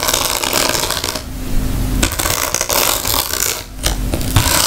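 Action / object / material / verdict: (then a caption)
scrape / woven rattan bag / rattan / none. Long nails tap and scratch across the weave of a round woven rattan bag. The result is a dense, crackly scratching rich in bright texture with a low thump underneath, easing briefly twice before picking back up.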